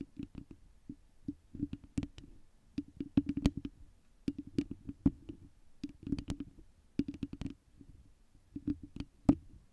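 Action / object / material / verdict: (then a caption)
scrape / foam microphone windscreen / foam / none. Long nails of both hands scratch and tap a round foam windscreen on a microphone throughout. The result is soft, muffled bursts of quick taps and scratchy rustles in clusters, with a low, dull thump under each cluster and brief brighter clicks, separated by short near-silent pauses.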